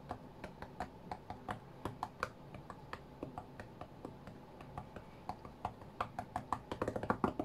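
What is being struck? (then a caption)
Tablet glass touchscreen. Fingertips of both hands tap on the glass touchscreen of a white iPad lying flat on a mat. The short, dry clicks have a soft low thump beneath them and die away almost instantly. They come in an uneven rhythm over a faint background hiss and bunch into a faster, louder flurry near the end.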